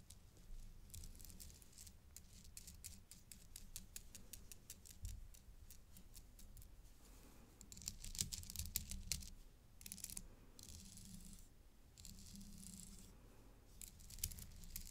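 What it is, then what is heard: Acrylic bead necklace on metal chain mesh. A gloved hand taps and rattles the back side of a pink acrylic necklace, with pink plastic teardrop beads on a gold-tone metal chain mesh lying on dark fabric, using a thin black stick. Quick, light, bright clicks run steadily over a low background hum. They swell into denser, louder rattling bursts partway through before settling back into soft, dry tapping.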